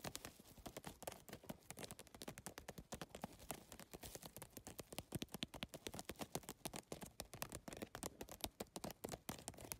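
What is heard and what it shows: Long fingernails tap rapidly across the plastic tiles of a holographic geometric PVC-tile handbag, which sit on a mesh backing. A dense, uneven stream of sharp, bright clicks follows, each dying away almost instantly, with a light clattering texture throughout.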